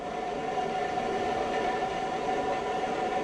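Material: Nothing is struck.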